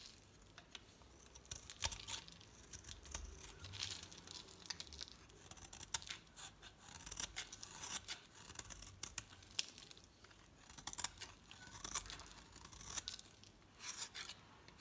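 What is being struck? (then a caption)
Bar of soap scraped with a metal knife blade. A metal utility knife blade shaves a solid pink oval bar of soap, sending flakes falling. Repeated bright, crisp scraping and crackling strokes come in quick bursts with brief pauses between them. The sound stays fairly quiet and mostly high-pitched, with almost no low end.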